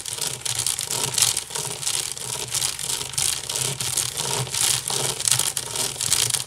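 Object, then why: Woven wicker basket. Long nails scratch fast across the woven side of a large, hollow wicker basket. The result is a steady, bright, raspy scratching in rapid overlapping bursts, with a faint low body resonance underneath.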